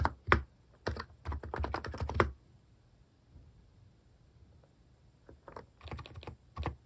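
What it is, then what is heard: Plastic mechanical keyboard typing. A hand types with its fingertips on a compact plastic mechanical keyboard fitted with plastic cat-face keycaps. Bursts of quick, dry, clacky keystrokes with a low thump come in two runs separated by a quiet pause.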